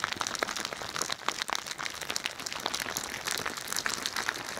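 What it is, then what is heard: Squishy ball filled with plastic beads. A hand-sized squishy pink bingsu ball, with a translucent stretchy plastic skin filled with bead-like plastic flakes, is held beside the microphone and squeezed and scratched with long nails. The filling makes a continuous, bright crinkling and crunching with dense, irregular sharp clicks and almost no low end.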